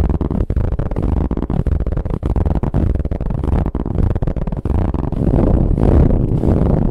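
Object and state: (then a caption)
Ribbed fabric pillow being scratched. Long nail tips tap and scratch rapidly across a soft brown ribbed fabric pillow. The result is a dense, continuous, muffled rasp weighted heavily toward low frequencies, broken by brief dips. It grows a little louder toward the end.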